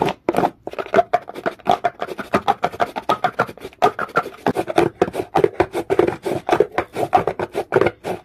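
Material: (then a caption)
Stone. A comb is dragged fast and hard across the surface of a solid, dark, rough rock, making a rapid string of short, dry scraping strokes. Each stroke is a raspy burst centered in the mid range, around 400 Hz, with little deep or bright content, and the sound stops almost instantly between strokes.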